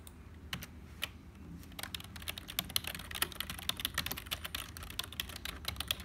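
A black HP plastic membrane keyboard with hollow keys is pressed slowly, one key at a time, by a single fingertip, then typed on quickly with both hands. Sparse, sharp plastic clicks give way to a dense, bright patter of short taps that stop instantly, over a faint low hum.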